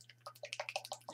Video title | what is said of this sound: #thinkpinkart I am a Survivor Mixed Media Painting | I have some antiquing cream from Deco art in patina green and I'm going to shake it real good as you can hear